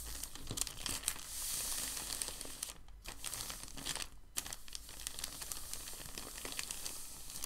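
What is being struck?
Thin packing paper sheet.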